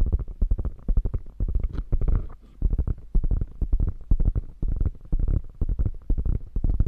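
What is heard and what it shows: Long nails scratch and tap across the padded panel of a beige quilted faux leather bag, making a dense run of soft, dull, low thuds and brushing scrapes. The sound is deep and muffled with almost no brightness, pulsing in uneven clusters with brief pauses.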